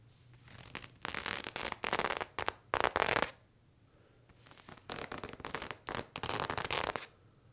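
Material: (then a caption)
Cotton denim. A serrated knife held in the hand scrapes back and forth across the front thigh fabric of worn blue cotton denim jeans. Quick, bright, raspy strokes come in two bursts of steady scratching, separated by a short quiet pause near the middle. Each stroke cuts off sharply with almost no ring.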